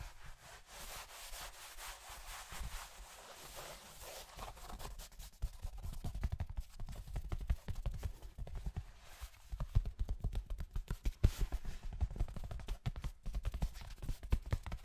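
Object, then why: Cotton denim jeans leg. A light-blue cotton denim jeans leg with a frayed rip, soft fabric, is held right beside the microphone and rubbed and scrunched by both hands. Quiet, airy brushing in the first few seconds gives way to denser, louder rustling and scrunching with many soft, low, dull bumps from the handling.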